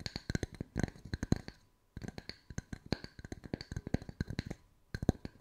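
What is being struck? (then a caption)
Wooden tree slice coasters. Long white acrylic nails tap and scratch the flat sanded faces of two matching small, round, solid wooden tree-slice coasters with bark edges, one held in each hand. About 34 quick, dry wooden knocks sound in uneven bursts, each with a low body and a bright clicky edge that dies away almost at once. A short silence falls just before the two-second mark.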